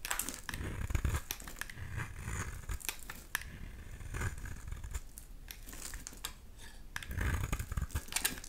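A solid oval pink bar of soap, held in the hand, is scraped and shaved with a utility knife blade, sending flakes falling. Repeated crisp, crackly scraping strokes with a bright, papery edge rise and fade over soft low thuds, growing busier near the start and end.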